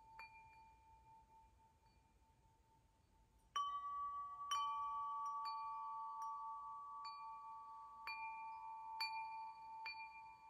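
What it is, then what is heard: Metal tube wind chime. Fingertips repeatedly strike and shake the hollow metal tubes of a wind chime hanging from a crossbar. Clear, bright metallic tones ring out, with long sustained overtones that overlap and slowly fade between taps. After a quiet opening ring, the strikes grow louder and keep the chime sounding continuously.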